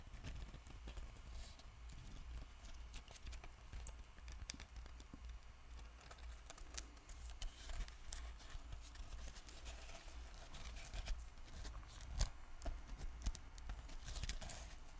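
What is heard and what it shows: A small, hand-sized spray bottle with a black cap and a body covered in glued-on glitter rhinestones is held in one hand while the fingernails of the other hand tap and scratch it. Quiet, irregular clicky taps and scratchy rustles sit over a steady low hum, with a few sharper, brighter taps standing out.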